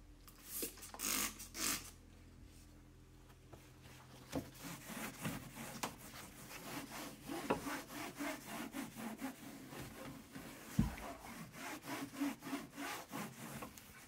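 Hands rub and wipe a paper towel over the empty, solid, large round white textured plastic lazy susan tray, a carousel shelf with a metal rail inside a kitchen corner cabinet. A few swishing strokes come first, then a steady run of quick, rhythmic scrubbing passes with a dry, papery hiss, occasional light knocks and a faint low hum underneath.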